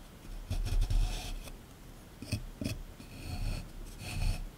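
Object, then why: Plaster excavation block. A small chisel tool held in the fingers scrapes and chips at a solid plaster excavation block sitting in a tray. Five bursts of dry, rasping scraping stand out, each with a soft low thud under a bright gritty edge, separated by quieter stretches of faint rubbing.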